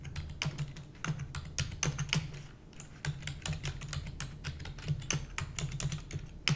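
A full-size black plastic computer keyboard with hollow keys is typed rapidly using the long nails and fingertips of both hands. Fast, uneven runs of short, dry clicks and bright clacks, each dying almost at once, sit over a steady low hum.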